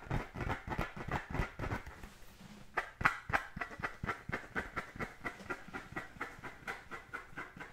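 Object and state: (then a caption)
Composite leather football being scratched. An inflated brown pebbled composite-leather football is held in both hands and scratched with fingertips and nails. Quick, dry rasping strokes repeat at a fast, uneven pace, with a hollow low thump under each one and a brighter scratchy edge on top. The scratching briefly softens to a quieter rub just after the two-second mark, then resumes in a steady run of short strokes.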